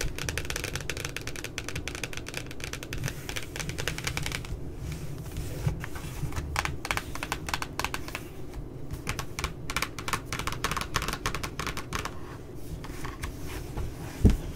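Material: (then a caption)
Paper. Long glitter nails tap rapidly on the glossy cover of a pink spiral notebook printed with two puppies. The dense, crisp clicks run nearly nonstop over a steady low hum, with one sharper, louder tap near the end.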